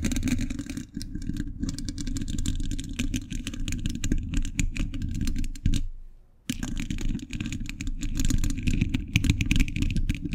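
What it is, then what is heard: Metal microphone grille. A hollow steel mesh microphone grille is tapped and scratched with metal thimbles worn on all fingers. Dense, rapid metallic clicks and scraping ride over a heavy low rumble, with a brief drop to near silence just after the six-second mark before the tapping resumes.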